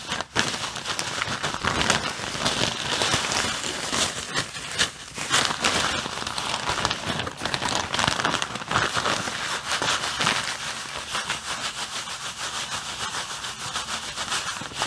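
Fingers with long blue-painted nails squeeze and crinkle a clear plastic bag stuffed with white artificial snow. The result is a continuous, dense, bright crinkling and crackling that stays fairly steady throughout, with very little low end.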